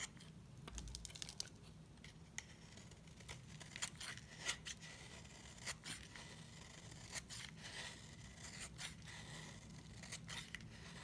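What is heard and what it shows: A utility knife blade scrapes a solid white dry soap bar, raising fluffy shavings. Quiet, bright, dry scratchy strokes repeat with crisp short snaps that die away almost instantly, over a faint low hum.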